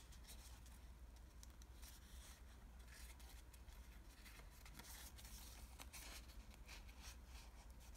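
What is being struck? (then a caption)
Folded washi paper model. Fingertips and fingernails press, crease and shape the folds of a small origami model made of thin green patterned Japanese washi paper. Soft, continuous crinkling, scratchy rustles and light ticks play over a steady low hum, all at a quiet level.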